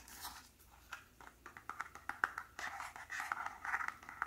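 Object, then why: Small cardboard packaging box. Fingertips tap and scratch the folded top flap and the front of a small white cardboard press-on nail box held in the hands. The result is a quick, uneven run of light, dry taps mixed with soft scratching, quiet and centred in the midrange, with no ring after each tap.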